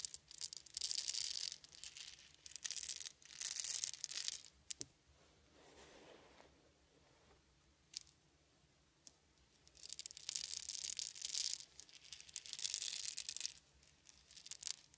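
Small solid wooden beads held in the palms are rolled, shaken and poured by hand, making bursts of dense, bright clicking rattle. Quieter gaps between the bursts hold a soft, low shuffle and a few isolated sharp clicks.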